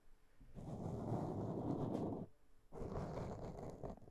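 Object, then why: Foam microphone windscreen. Long nails scratch a black foam windscreen on a microphone, producing a dense, muffled, low rustling rumble. It comes in two sustained bursts separated by a brief pause, with almost no high or bright content.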